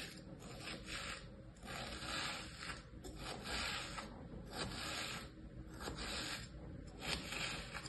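Fingers with long painted nails drag a small thin tool through a flat, damp-looking layer of kinetic sand with stamped shapes in a mint-green plastic tray. The sound is a soft, bright, gritty scratching and scraping that swells and fades in repeated, somewhat uneven strokes, over a low, quiet rumble underneath.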